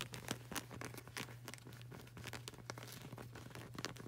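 Long burgundy nails tap and scratch quickly on the dark grey textured rubber sole of a flip-flop with a flag-print edge, a solid yet flexible surface. The result is a quiet, rapid stream of short, crisp clicks and crinkly scratches with bright edges, each dying away almost instantly over a steady low hum.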